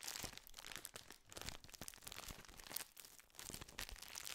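A full plastic biscuit wrapper is crinkled and squeezed between the fingers close to the microphone. It makes a dense, continuous stream of sharp, bright crackles and crunches with no ringing tail, swelling and easing as the grip tightens and relaxes.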